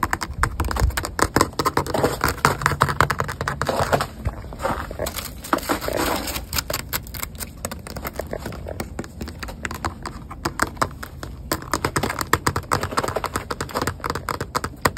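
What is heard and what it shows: A solid, flat sheet of frozen ice lying on the snowy ground is struck by fingertips with long painted nails poking through fingerless gloves. Fast, crisp clicking taps and scratches run almost continuously for the whole clip, each one dying away almost instantly.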